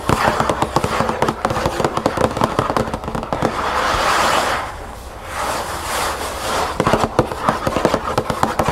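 Long nails tap rapidly on the front of a closed cardboard cereal box lying flat, then on its narrow side, giving dry, hollow clicks with a midrange knock. In the middle the tapping gives way to a steady scratching rasp across the cardboard before quick tapping returns.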